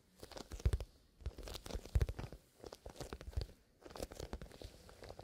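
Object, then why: Soft leather zipper pencil case. A small, soft black leather zipper pencil case is gripped in both hands and squeezed, its surface worked by bare fingertips. The result is bursts of crinkling and crunching handling noise with deep, low thuds, separated by brief quiet pauses.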